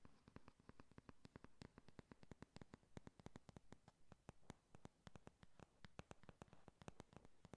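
Long nails tap fast on the cardboard cover of a flat pink "Honey Lust" eyeshadow palette held at an angle. The result is a quiet, rapid, steady run of short, dry clicks with dull low thuds beneath each one. Each tap dies away almost instantly.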